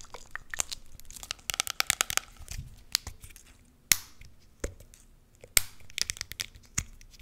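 Long nails tap and scratch on the label and black flip cap of a small pink plastic hand sanitizer bottle full of gel. The result is a quick run of crisp, bright clicks and dry, crinkly scratching, broken by a few louder, sharp taps that stop dead with no ring.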